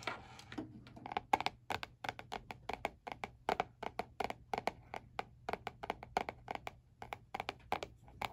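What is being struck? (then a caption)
Spiral notebook with laminated cardboard cover. Fingertips of one hand tap on the glossy laminated cardboard cover of a small spiral-bound notebook lying flat on a white board. A steady run of short, dry, hollow taps centered around 800 Hz dies away almost instantly, over a faint low hum.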